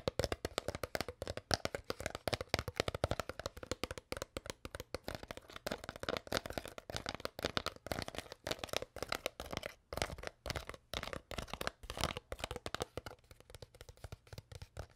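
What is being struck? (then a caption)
Thin clear plastic water bottle. An empty, crushed, hollow clear plastic water bottle with a label is held in both hands and crinkled and squeezed with long nails and fingertips. Dense, rapid crackles and sharp clicks sound across a broad, bright range with a mid-toned body. The crisp crinkling continues steadily throughout with very short, dry decays.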